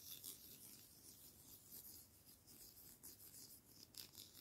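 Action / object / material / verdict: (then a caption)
scrape / pair of wooden chopsticks / wood / none. A pair of thin, solid wooden chopsticks, held one in each hand, is rubbed and scraped against each other. The result is a quiet, continuous, bright scratchy rasp with short, brighter strokes rising out of it, and it never goes silent.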